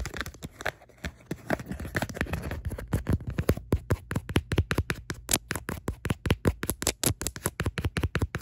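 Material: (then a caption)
Faux leather. Long nails tap and scratch the back of a tan faux leather wallet phone case with card slots, held upright. The first few seconds mix soft scratching with quick taps, then it turns into a steady run of fast, dull, low-pitched taps, each short with almost no ring.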